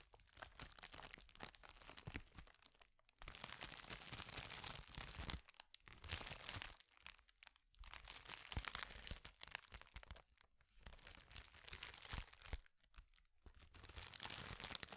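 A clear plastic bubble wrap sheet is twisted and rubbed with the fingertips, giving bright, dense crinkling with sharp little pops and crackles. The sound comes in bursts separated by brief quiet pauses, and each snap dies away almost instantly.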